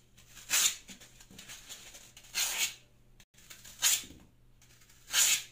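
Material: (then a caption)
Phenolic foam. A plastic Y-peeler with a metal blade shaves strips off the surface of a hand-sized solid block of green phenolic floral foam held in the hand, the strips falling onto a pink mat. Four separate bright, hissy scraping strokes are heard, each short and airy with almost no low end, separated by quiet pauses.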